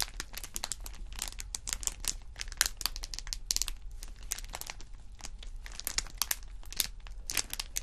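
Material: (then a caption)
Vinyl. A thin, textured purple holographic vinyl sheet lying flat is pressed and scratched with fingertips and nails. It gives off a continuous, dense stream of bright, crisp crinkles and sharp scratchy ticks over a steady low hum.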